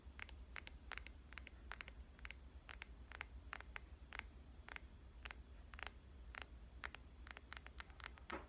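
Long painted nails tap the face and edge of a black glass-and-metal smartphone held upright without a case. The sound is a quick run of short, bright, clicky taps with almost no ring, over a steady low hum.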